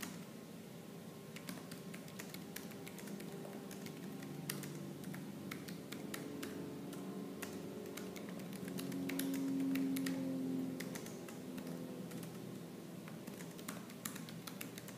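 Fingertips with purple nails type fast and aggressively on a laptop keyboard with black plastic keys, producing a continuous run of sharp, bright key clicks. A steady low hum sits underneath and swells slightly around the ten-second mark before settling back.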